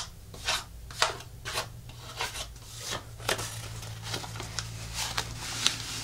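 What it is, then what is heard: Artificial plastic leaf being scratched. Long nails scratch and fingertips rub across the thin plastic surface of an artificial monstera leaf, first held and then laid flat on a table. Bright, raspy scrapes come in short bursts over a low steady hum.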